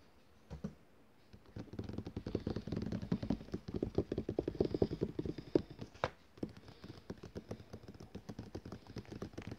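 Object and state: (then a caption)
Glossy paper catalogue. Fingertips and nails, on a hand wearing rings, tap quickly on the cover of a thick glossy paper catalogue lying closed and flat on a table as a solid stack of pages. After a brief quiet start, a dense run of soft, dull, very short taps follows, mostly low and muffled with little brightness, then continues at a steady, slightly lighter pace to the end.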